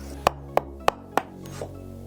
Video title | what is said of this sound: Motore KTM 990 Adventure. Apriamo il motore! Kat rebuild Ep.4 (parte1) #990adventure | Lo senti che si si è schiodato?